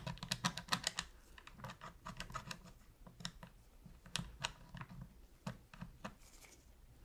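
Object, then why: Plastic game controller tapped with a metal pick. A metal pick held in gloved hands taps and scratches around the face buttons of a black, hollow plastic PS3 controller while cleaning it. Quick, bright, clicky ticks come in irregular clusters, busiest at the start and thinning out later, with faint scraping between them. Each tick is short and dry with almost no ring.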